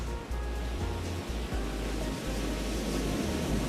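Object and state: Nothing is struck.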